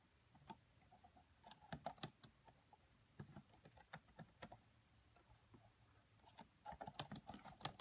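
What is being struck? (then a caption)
Plastic laptop keyboard. Fingertips with long French-manicured nails on both hands tap the black plastic chiclet keys of a red laptop with a hollow body. About seventeen quiet, short, bright clicks come in irregular bursts with brief pauses, each dying away almost instantly.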